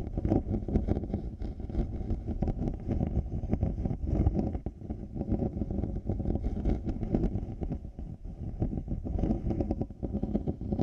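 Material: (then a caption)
Plastic, faux leather. Fingertips and nails scratch both white-rimmed faux-leather earcups and the plastic shell of large black over-ear headphones fitted over a 3Dio binaural mic. The result is a dense, continuous, muffled scratching and rustling, heavy in the low end with almost nothing above 1 kHz.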